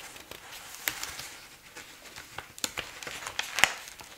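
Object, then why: Paper ledger book. Fingertips turn and rustle the paper pages of a thick bound check register ledger lying open on a cloth tablecloth, then smooth a page flat by hand. Soft, bright paper rustling is broken by a series of short, sharp crackles and crinkles that die away almost instantly, with almost no low end.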